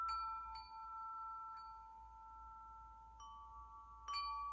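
A hollow metal tube wind chime is held up and swung so its striker rings the tubes. Clear, sustained metallic tones centred near 1.3 kHz overlap and ring on, with brighter overtones flaring on each new strike. The result is a soft, shimmering chime that lingers over a quiet low hum.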